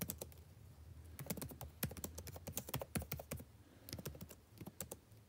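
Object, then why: Plastic laptop keyboard keys. Fingertips type continuously on a backlit laptop keyboard with plastic keys, producing a steady stream of quick, soft clicks and taps. Each keystroke is short and dry with a bright click over a low, muffled thump, and the pace comes in bursts with brief pauses.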